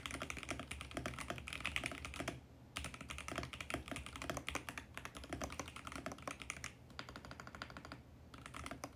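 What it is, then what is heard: Plastic mechanical keyboard being typed on. A compact 65% VGN X68 mechanical keyboard with purple, pink and mint plastic keycaps on a mint case sits on a white desk as fingertips type rapidly across the keys. The result is a dense stream of short, bright plastic clicks and taps with a low thock underneath, broken by two brief pauses.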